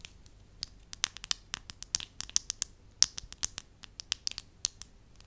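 A solid beige soft wax slab is rubbed, crinkled and scratched with fingertips and long lilac nails. About 23 short, dry, crackly scratches and clicks come in an uneven run, bright and high with almost no low end. Each sound stops instantly, with no ring.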